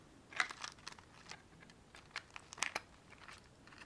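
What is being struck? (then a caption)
Small cardboard matchbox. Long painted fingernails tap and scratch the surface of a small white cardboard matchbox held in one hand. About ten quiet, dry, crisp ticks and scrapes come in irregular bursts, bright with almost no low end, each dying away almost instantly.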